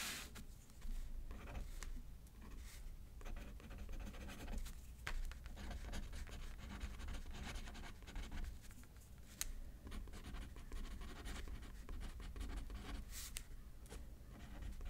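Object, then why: Pen on a thin paper card over a paper pad. A pen writes left-handed on a thin paper card resting on a paper pad, making a quiet, continuous scratching with bright, brief strokes and taps scattered throughout. A steady low hum sits underneath the whole time.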